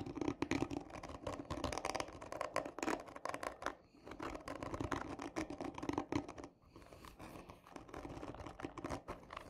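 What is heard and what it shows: Long nails on both hands scratch hard and slowly across the top of a hollow, textured cardboard tube lying on its side with a black end cap. The result is a dense run of dry, rasping scrapes with a hollow midrange body around 285 Hz. It eases briefly near four seconds and again after six before continuing.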